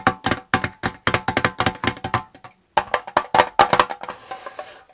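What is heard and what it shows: Fingertips and nails tap the gold metal lid and sides of a small, hollow Twinings Prince of Wales tea tin while the tin is rotated. Quick bursts of short, dry clicks with a bright metallic ping come in a rapid series, separated by a brief pause. The clip ends in a softer, hissy rustle.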